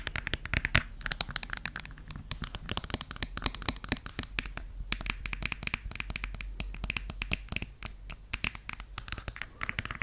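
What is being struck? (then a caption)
Suede high-heel pump. A red suede stiletto pump, empty, is scratched and tapped with long yellow nails on its outer suede and around the opening. Dense, quick clicks and taps mix with soft, brushy scratching and crinkly rustle across the whole clip, each tap dying away almost instantly.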